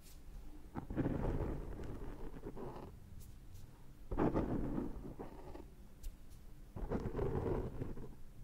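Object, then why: Foam microphone windscreen. Fingertips and short nails lightly pick and scratch at the surface of a large, dark, soft foam windscreen with a hollow back, fitted on a Zoom H6 microphone. Close-up, the scratching comes through as muffled, low, rumbling rustles that swell and fade three times. The sound is dark and thunder-like, with almost nothing bright in it.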